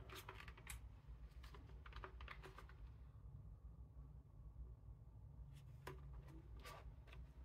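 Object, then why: Plastic computer keyboard. Black-gloved fingertips type on an old, yellowed Japanese Apple Mac keyboard, a full-size, hollow-bodied board with a translucent plastic case, dark plastic keycaps and its cable draped over it. Bursts of bright, short plastic key clicks come in quick runs, pause briefly in the middle, then resume. A steady low rumble sits underneath throughout.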